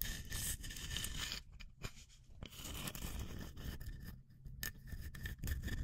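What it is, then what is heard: Wooden tree slice. Long nails scratch and tap a small, solid round slice of tree trunk, with a light wood face and a bark edge, held close to a microphone. Irregular bursts of dry, bright scraping and rustling come over a low rumble, broken by brief quieter gaps.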